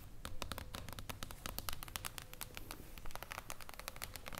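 Long acrylic nails tap and scratch across the top of a flat hardcover book with a shiny, reflective silver mirror-foil cover lying on a table. Quick, irregular, bright clicks overlap with soft scratching over a low, steady rumble. Each tap is short and dry, with almost no ring.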